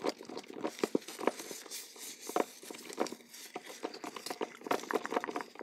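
Long gold-polished nails scratch and rub the surface and paper tag of a hollow, teal printed cardboard tea gift box with a satin ribbon, held in the hands. The result is a quiet, dry patter of short scratchy ticks and rubs with a papery hollow tone in the low mids, little bass, and a faint bright hiss between strokes.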